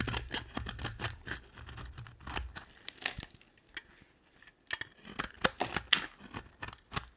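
A box-cutter blade shaves a yellow-and-white striped solid dry soap bar, making crunchy, bright scraping cuts that break off chunks. The dry, crackly strokes come in an uneven run, fade into a quiet pause, then return as sharper, louder crunches.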